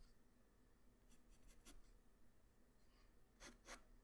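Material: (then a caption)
Paper. A graphite pencil tip draws hair lines on a flat white paper sheet, giving quiet, dry scratching and rubbing strokes. Brief bright strokes come in short bursts over a low steady hum, with the two strongest near the end.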